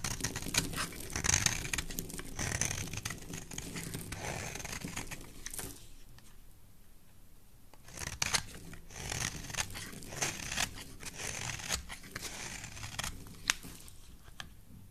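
A solid mint green bar soap held in the hand is carved and shaved with a metal blade, giving dry, bright scraping and crisp crackling shaves. The texture is dense and close, with short sharp flicks over a low rumble. It eases to a quieter stretch in the middle before the shaving picks up again.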